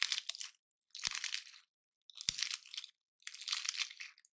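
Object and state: Dry pine cone being crushed.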